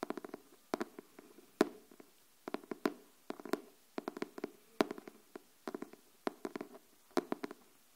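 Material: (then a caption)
Cardboard. Long nails tap and scratch the printed cover of a closed pink illustrated hardcover notebook. About 32 quick, dry, low-mid taps come in small rhythmic clusters with faint scratching between them. Each tap dies away almost at once.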